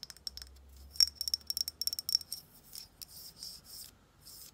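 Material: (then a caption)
Glass. Long nails tap and scratch the surface of a medium frosted glass Estee Lauder Micro Essence bottle, which is hollow with liquid inside. Quick, bright clicks with a high glassy ring come in a run over the first two seconds, then give way to softer, longer scratching strokes.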